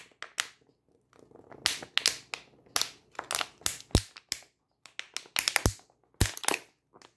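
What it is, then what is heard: Plastic water bottle crunched and tapped. A 500 ml thin plastic water bottle with water inside is held in both hands while long nails tap it and the hands squeeze and crunch its ribbed sides. The result is a run of sharp, bright crackling crunches and crisp taps with short pauses between them, each burst dying away quickly.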